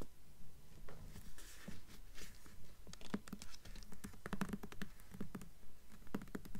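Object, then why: Hardcover book with glossy paper dust jacket. Long nails tap in a quick, steady rhythm on the glossy paper dust jacket covering the front of a purple hardcover book, "Bloodhound," held upright and solid. The quiet, dry taps give low thuds with short scratchy clicks that die away almost at once.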